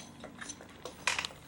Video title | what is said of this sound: my devin | Is there anything in there? It sounds empty